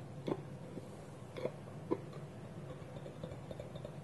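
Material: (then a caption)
Wood. Fingertips and nails tap the side of a small, polished, hollow wooden bowl with a wooden lid held against it. Three louder, dull, hollow knocks, each with a short woody tone near 370 Hz, stand out over a soft low rumble. Fainter taps follow, and each sound dies away almost at once.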